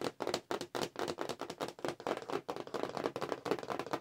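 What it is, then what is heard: Cardboard toy package tapped with nails. Long acrylic nails tap quickly with both hands on the flat card of a cardboard Star Wars figure package held upright. The result is a dense, uneven stream of dry, hollow clicks centered in the mid range, with almost no low end and very little ring after each tap.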